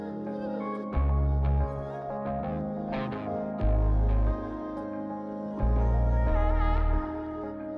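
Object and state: Nothing is struck.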